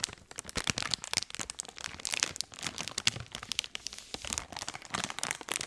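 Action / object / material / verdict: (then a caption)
scrape / soft plastic wet wipes package / plastic / none. A full blue soft plastic wet wipes pack is squeezed and crinkled with both hands right up against the mic. Dense, bright crackling bursts come in quick uneven clusters with almost no low end, and each crackle dies out instantly.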